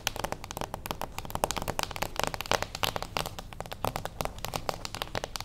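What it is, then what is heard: Cardboard gift box. A small, closed beige cardboard gift box stands on its edge and is tapped quickly with long acrylic nails. The result is a dense stream of short, dry clicking taps with a hollow midrange tone and bright, crinkly edges, each dying away almost instantly.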